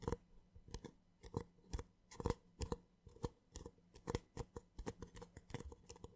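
A small, empty, hollow white paper cup is scratched with short nails and tapped on its side and base with the fingertips. The result is a quick, irregular series of soft, dry clicks and scratchy snips, each with a faint hollow low thump and a bright crisp edge that dies away almost instantly.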